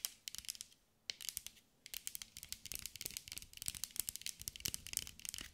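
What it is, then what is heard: Glass mosaic ball. A green mirrored glass mosaic sphere is held in the hands and tapped and scratched with long acrylic nails. The result is a quiet, rapid stream of bright, crisp clicks and scratchy ticks with almost no low end and no ring, broken by two short pauses early on before getting denser toward the end.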